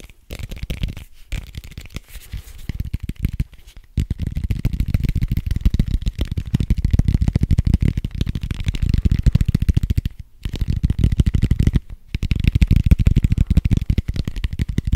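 A large, soft red foam dice with white dots is held close to the mic and rapidly scratched and tapped with fingernails and fingertips. The result is a dense, fast stream of dull, low, thumping scratches with short gaps near 1, 4, 10 and 12 seconds.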